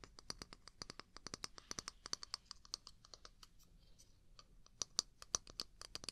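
Long pink nails tap and scratch a small, hollow, empty-looking wooden mug with a handle, held in the other hand close to the mic. An irregular, rapid run of dozens of quiet, bright, dry clicks with almost no ring is heard, with faint scratchy rasps between them.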